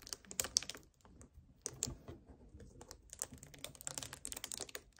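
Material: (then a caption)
Plastic. A hollow 1 L white plastic strawberry kefir bottle standing on a table is tapped and gripped on its lower sides by fingertips and nails. The result is a quick run of crisp, bright, clicky taps with almost no ring, fairly quiet, sounding much like typing.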